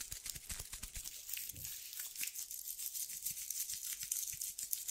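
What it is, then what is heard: Sandpaper strip. A tan sandpaper strip is held between both hands while fingertips rub and scratch its gritty surface. The result is a continuous run of quick, dry scratching strokes with a bright, hissy grain and almost no low end.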